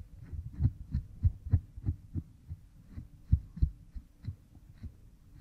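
A bamboo stick rubs behind an oiled pink silicone ear model microphone. About eleven muffled, low, thumping strokes come at an uneven pace over a faint steady hum, each dying away almost at once.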